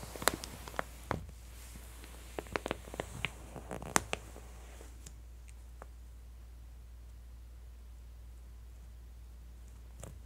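A flat palm presses and smooths the open spread of a glossy paper J. Jill women's clothing catalog, then long nails grip and crinkle the page edges. Quick, bright paper crackles and sharp ticks cluster over the first four seconds or so. The rest is near-silence over a steady low hum, broken by a few faint clicks and a soft crinkle at the end.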